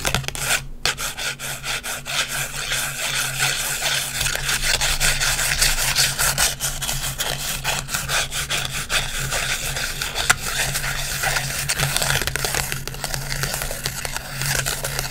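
Long white acrylic nails scratch and rub across a small, flat green instant photo with a white frame, made of paper and plastic. The result is a dense, continuous scratching and rubbing texture of quick, uneven strokes with a bright, hissy top. A faint steady low hum sits underneath throughout.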